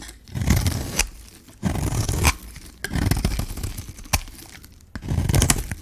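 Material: Soap.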